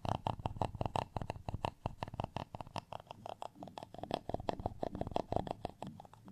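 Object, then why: Textured plastic rice paddle. A textured beige plastic rice paddle, flat and solid and held in one hand, is scratched across its dimpled surface with a black tweezer-like tool with a round tip. A rapid, uneven run of short, dry scratchy ticks repeats for the whole clip, with a hollow mid-pitched tone in each stroke and almost no ring after it.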